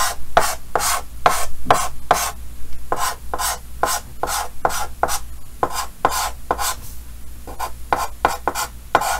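A yellow chalk stick held in the fingertips scratches and rubs short hatching strokes across the solid surface of a large, flat dark green chalkboard in a green wooden frame while drawing. The sound is a quick series of dry, raspy scrapes with bright, hissy edges, their strokes coming at an uneven pace. A steady low hum runs underneath throughout.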